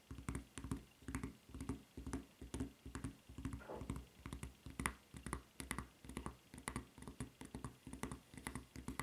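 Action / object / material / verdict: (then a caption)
tap / rubber flip-flop footbed / rubber / none. Long nails tap quickly on the white rubber footbed of a flip-flop with a red strap. The result is a steady run of soft, dull taps with deep low thumps and brief bright clicks, each dying away almost at once. A faint scratchy sweep is heard near the middle.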